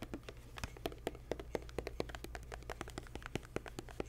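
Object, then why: Glass jar with metal lid. Fingernails and fingertips tap and scratch a clear glass jar with a metal screw lid and a paper label, holding some contents and held in the hand. A rapid, uneven series of short, bright clicks carries a faint glassy ring near 465 Hz, with soft scratching in between over a steady low hum.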